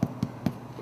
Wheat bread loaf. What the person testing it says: check the bottom for the hollow hollow sound of our baked breads